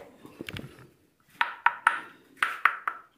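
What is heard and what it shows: A hanging limestone stalactite is struck. It gives six clear, bright pings in two quick groups of three, pitched around 1.3 kHz, after some softer, low knocking at the start. Each ping fades fast, and the stalactite rings the same as the other one.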